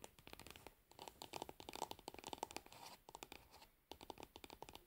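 Long nails scratch and tap the label area of a pink plastic lid on a plastic cosmetic jar lying on its side. About 26 quiet, sharp clicks with no ring come in quick bursts, each with a bright scratchy edge and a hollow tone near 900 Hz, separated by brief pauses.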